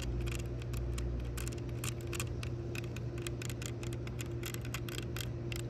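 Long pink nails tap and scratch the small gold metal decorative hinge on a pair of plastic-framed sunglasses lying on a towel. Rapid, light, bright clicks and scrapes patter over a steady low hum with a faint sustained tone.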